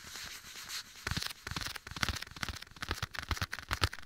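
A black leather glove worn on one hand is held against the right ear of a binaural microphone while the bare fingertips of the other hand tap and scratch its soft leather surface, with an echo effect added. A soft, airy brushing hiss opens the clip, then a quick, uneven run of dull, thumpy taps with bright scratchy crackles fills the rest.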